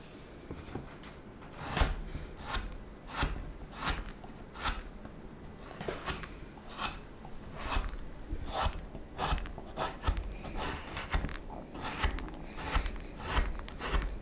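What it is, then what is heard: Wooden spoon blank being carved. A knife cuts and scrapes the neck and handle of a solid wooden spoon blank, faceting it with small strokes. Sixteen short, rasping strokes sound at a steady rhythm, each a brief bright scrape over a low, quiet background.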